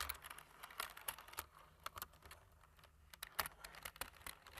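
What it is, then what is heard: Plastic computer keyboard being typed on. Fingertips press the black plastic keys of a computer keyboard in continuous typing. Short, dry, bright clicks and taps patter at an uneven pace, each dying away almost instantly, over a faint low hum.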